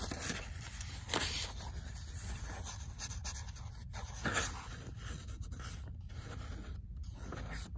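Fingernails scratch across the pages of a paperback book, then the page block is flipped and fanned, giving soft papery scratches and rustling over a low steady rumble. A few brighter flicks stand out, the clearest near one second and again around four seconds.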